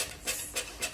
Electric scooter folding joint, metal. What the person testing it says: ça craque, ça prend du jeu